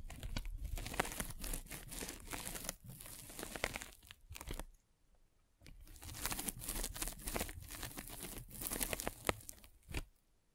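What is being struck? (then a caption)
Polyethylene foam net sleeve. A derma roller with metal spikes is rolled across a white polyethylene foam net sleeve fitted over a microphone, producing dense, crinkly scratching and crunching with bright, fine crackles over a low rumble. The rolling runs in two stretches separated by a brief near-silent pause midway, with a few sharper clicks standing out near the end.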